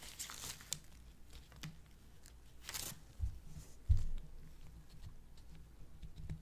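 A long, solid white wax pillar candle, held in latex-gloved hands, is scraped and scratched along its surface with the tips of small metal scissors. Soft, brief scratchy rasps and crinkly crunches sit over a low rumble, with several short bright streaks. Two louder, thumping scrapes come near the middle.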